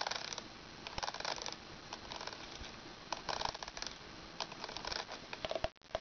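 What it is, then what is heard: Plastic toy wand scratched with nails. Long red nails scratch along the ridged section of a long plastic toy wand with a ridged translucent handle and a clear dome. The result is soft, bright, rasping scratches in repeated bursts, with a few sharp clicks and a brief drop to near silence just before the end.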